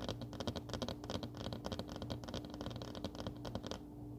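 Long fingernails of both hands tap and scratch across a flat paper desk calendar pad lying on a wooden table. A rapid, uneven run of crisp, papery taps and scratches goes on over a faint steady hum, then stops shortly before the end, leaving only the hum.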